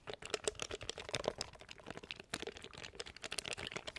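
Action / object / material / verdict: tap / plastic macro button keypad / plastic / none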